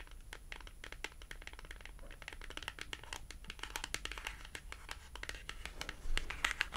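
A small, thin, flat, solid cardboard price tag with a colorful cartoon print is held horizontally in both hands and tapped and scratched with long glossy acrylic nails. The result is a rapid, irregular stream of dry, bright clicks and papery scratches with almost no ring. The sound grows louder near the end.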